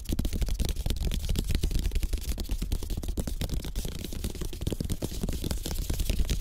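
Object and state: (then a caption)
Bamboo placemat. Fingertips of both hands tap quickly across a rolled-slat bamboo placemat of thin, tied bamboo sticks lying flat on a table. The result is a fast, continuous patter of soft, dull taps, mostly low and thuddy, with faint bright clicks on top. Each tap dies away almost instantly.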